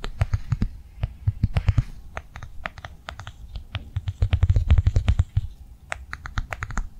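A blue plastic cardholder held upright in a hand is tapped fast with long nails. The result is a quick, irregular run of short, dry clicks with a soft low thud under each tap and almost no ring between them.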